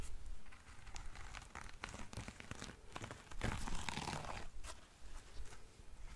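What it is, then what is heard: Lace espadrille with jute sole. A single black lace espadrille with a jute rope sole is scratched and tapped by long nails on the lace upper and the insole. Dry crinkly scratching comes with quick, irregular taps, and a louder, denser burst of scratching sits near the middle. Under it all runs a steady low rumble.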